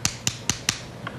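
A dead clam, already open and empty, is tapped four times in quick succession, followed by a fainter fifth tap. Each tap gives a short, bright, hollow click that dies away almost instantly. The hollow sound marks the clam as dead.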